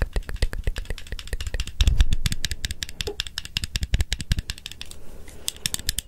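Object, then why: Small plastic stapler with metal mechanism. A small blue plastic stapler with a metal mechanism is held in one hand close to the microphone, opened and clicked while the fingers fiddle with its metal parts. Rapid, irregular dry clicks and light rattles follow one another with almost no ring, each carrying a bright snap over a low thump. A brief, denser rumble of handling swells near the two-second mark.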